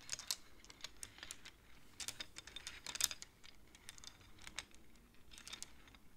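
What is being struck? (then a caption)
Wooden abacus with wooden beads. Fingertips and long nails slide the painted wooden beads of a wooden abacus along its rods. A quick, irregular run of quiet, dry, bright clicks follows, with small clusters where several beads knock together and almost no ring after each tap.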